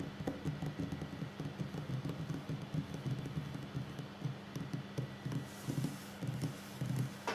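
Fingertips and short nails of both hands tap on a solid wooden tabletop. The taps are soft, dull and low-pitched, coming in quick, uneven clusters with a short, dry decay over a faint steady hum.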